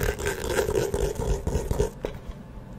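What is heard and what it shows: A small hollow map-print faux leather hard-shell eyeglasses case is turned in the hands while long nails scratch and tap along its cover. A low, resonant hollow tone rings beneath the dense scratching, with sharp taps scattered through it. The sound thins out over the last second.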